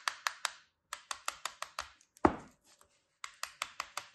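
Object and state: Kinetic sand shape being cut.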